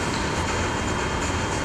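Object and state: Nothing is struck.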